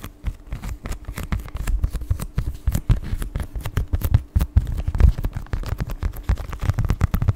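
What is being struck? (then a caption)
Clear plastic blister package with card insert. A flat, hollow, palm-sized clear plastic blister package with a printed paper card insert is held in both hands and tapped and scratched with the fingertips and nails. It makes a rapid, uneven stream of short, dry, crinkly taps and scrapes with a dull, low body and brief crisp clicks.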